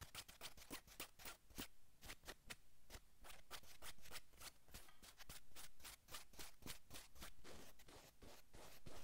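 Palms brush a navy cotton sweatshirt on a man's shoulders, then long nails scratch the fabric. The clip is a quiet, rapid, uneven run of bright scratchy strokes over a soft low rustle.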